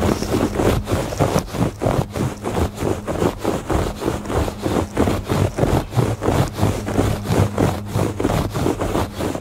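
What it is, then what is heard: Woven textile rug being scratched. Fingertips and nails rub and scratch across the weave of a woven textile rug in quick, rhythmic back-and-forth strokes. Each stroke makes a soft, dry, scratchy rasp, with a steady low hum underneath throughout.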